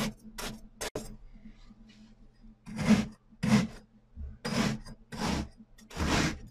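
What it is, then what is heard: Kinetic sand sliced with a knife. A hand drives a metal cleaver knife down through a large, flat, solid and dense pyramid of pink and purple kinetic sand discs resting on a white surface, slicing and scraping them. Each stroke makes a soft, broad, gritty rasp that swells and fades, with a low steady hum running underneath. The strokes come in a loose, uneven rhythm.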